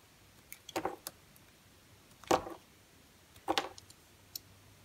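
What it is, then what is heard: Bar soap being carved with a knife. A red utility knife blade carves curls from a solid, smooth yellow rectangular bar of soap held in the hand. Three main crisp, scraping cuts stand out, each a short rasp centered in the midrange with bright edges, separated by quiet pauses and a few light ticks of the blade.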